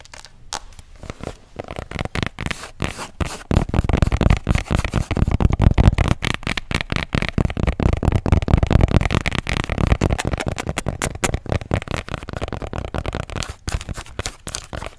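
Long acrylic nails rapidly tap and scratch the back of a flat, rigid, hard plastic tablet case with a pink marble print, held in both hands. The result is a dense stream of sharp, dry clicks and scratchy rasps with a thuddy low body and almost no ring. It grows louder after the first few seconds and stays busy to the end.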